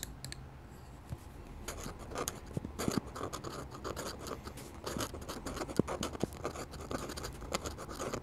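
A metal-nib dip pen held in the fingers scratches quick ink strokes across a flat sheet of drawing paper bearing an ink sketch of a wooden church, while a glass ink bottle stands nearby untouched. Dry, bright scratching strokes come in rapid irregular bursts with short, sharp clicks of the nib and almost no ringing.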